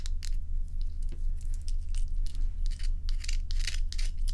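Long nails scratch and rub solid ice cubes held in the hand, producing quick, bright, gritty scraping bursts in an uneven rhythm. A steady low hum runs continuously underneath.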